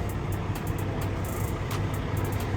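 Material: Nothing is struck.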